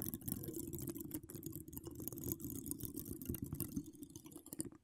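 Long decorated acrylic nails on both hands scratch and tap the hollow steel mesh grille of an uncovered microphone decorated with wire spirals. The result is a dense, continuous rasping crackle with quick ticking taps throughout, heavy and rumbly in the low end with a thin bright hiss on top.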